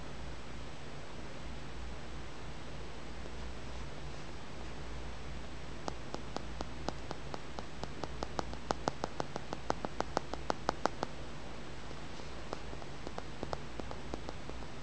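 A small, solid, polished, dark grey-green tumbled stone held in the fingers is tapped and scratched with fingernails. After about six seconds of quiet low hum, a run of quick, dry clicks with almost no ring comes in, then thins to a few scattered taps near the end. A faint steady high tone runs underneath throughout.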